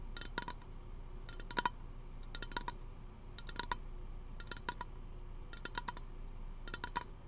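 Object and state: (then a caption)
Aluminum aerosol can. A small teal aluminum aerosol lotion can, hollow and pressurized, is held in one hand beside a plastic-wrapped microphone and tapped with the fingernails of the other hand. Quick clusters of light, clicky taps come about once a second, each with a brief metallic ping near 1 kHz and a bright edge that dies away almost instantly. A steady low background hum runs underneath.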